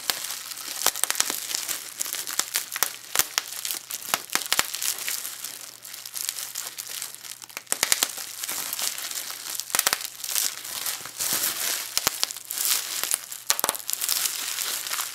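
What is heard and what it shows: A crumpled piece of clear plastic bubble wrap is picked up from a table and squeezed with both hands, so the air bubbles pop and the sheet crinkles. Dense, bright crackling continues throughout, with many sharp, very short pops standing out above it and almost no low end.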